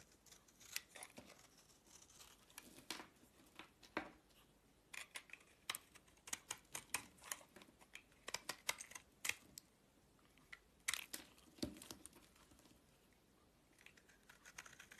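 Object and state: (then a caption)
Soap bar being carved with a knife. A solid white oval soap bar held in the palm is scraped and carved with a dark utility-knife blade. Quiet, bright, crisp scraping and snapping clicks come in irregular bursts over a faint hiss. Each cut dies away almost at once.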